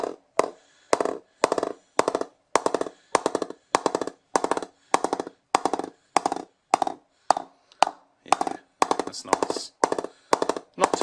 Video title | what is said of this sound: BDM The Game Limited Edition Cricket Bat | That's nice. Not too soft, going pretty well off centre too.